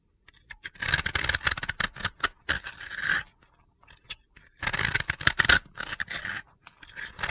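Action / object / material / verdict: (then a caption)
scrape / soap block scraped with a knife blade / soap / none. A utility knife blade scrapes and crumbles the surface of a hand-sized, dry, powdery, crumbly disc of solid pink and blue soap held in the hands. Bursts of dry, gritty scraping and crunching come in two main stretches, separated by a quiet pause and ending in lighter scrapes.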